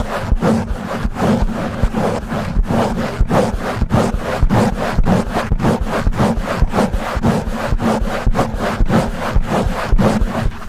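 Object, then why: Foam microphone windscreen. A black foam windscreen on a silver desktop microphone is scratched and rubbed fast and hard by the fingertips and short nails of both hands. The result is a dense, loud, continuous scraping and rubbing with deep muffled thumps and a strong low rumble. Rough bursts repeat about twice a second in an uneven rhythm.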